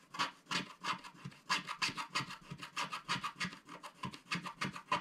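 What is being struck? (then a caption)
Coated cardboard scratch art card. Fingertips rub back and forth across a flat, solid coated-cardboard scratch art card, now mostly scratched free, wiping off the leftover black coating flakes. The result is a quick, uneven series of dry, raspy brushing strokes, about three per second, bright and hissy with a band around 1 kHz and faint soft low thuds under each pass.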